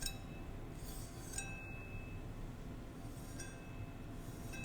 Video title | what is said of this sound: ASMR Tapping On My Cameras, and a Decorative Battle Axe | i think it sounds pretty cool